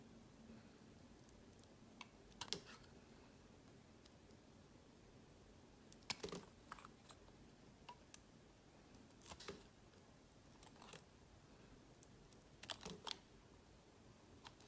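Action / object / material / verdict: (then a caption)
scrape / glycerin soap bar / soap / none. A palm-sized, solid, translucent yellow glycerin soap bar is held in the hand and shaved into thin curls with a utility knife blade. Quiet, crisp scraping strokes and bright little clicks come in short bursts, spaced apart over a soft, steady background hiss.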